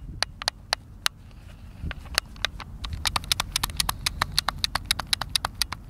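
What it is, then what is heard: Plastic game controller buttons. Thumbs rapidly tap and click the buttons of a hand-sized, hollow white plastic Xbox controller held at a table edge. Sharp, bright clicks with almost no ring come in a fast, irregular stream that gets denser in the second half, over a faint low rumble.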